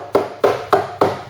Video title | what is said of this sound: Ford Cortina Mk3 Restoration- Project Ruby EP3 | a soft nice hollow ring to it which shows that the there's no rust there because the panel's resonate as you tap it